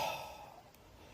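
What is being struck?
Nothing is struck.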